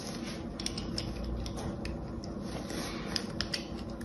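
An orange utility knife scores and scrapes the surface of a solid cream soap bar with a gold coating, held in the hand. A steady, low, gritty scraping runs throughout, broken by short, bright clicks and ticks as the blade catches the surface.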